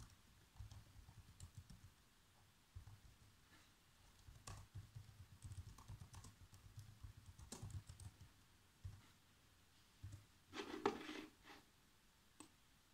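Fingertips type on the black plastic keys of a laptop keyboard, making quiet, irregular clicking taps with soft low thuds beneath them. A brief, louder and brighter burst of key clatter rises near the end before the typing trails off to a few scattered taps.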